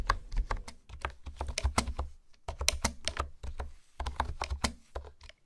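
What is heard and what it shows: Fingertips type and tap on a pink plastic honeycomb keyboard with hexagonal keys. Quick runs of short, crisp clicks have a soft low thump beneath bright tops, with brief pauses between bursts. Each tap dies away almost instantly.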